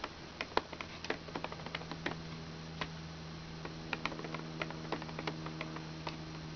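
Long red-painted nails tap the plastic keys on the blue key panel of a small hollow plastic children's toy laptop, held open on a blanket. About 19 short, dry, clicky taps land at an irregular pace over a steady low hum. Each tap is bright and brief with almost no ring.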